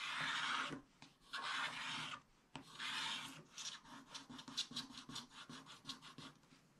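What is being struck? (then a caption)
Coated scratch-art paper scraped with a wooden stylus. A wooden stylus scrapes away the remaining black coating at the left edge of a scratch-art paper page in a spiral book. Three long, bright, rasping scrapes are followed by a run of shorter, quicker scratching strokes that gradually fade.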